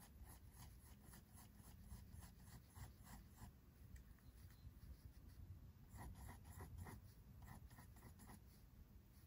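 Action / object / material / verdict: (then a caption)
scrape / pencil on a paper sketchbook page / paper / none. A pink mechanical pencil makes short hair strokes on white drawing paper in a spiral-bound sketchbook. Quick, quiet scratching strokes come in rapid bursts, bright and papery over a steady low rumble. There is a brief pause in the middle before another run of strokes.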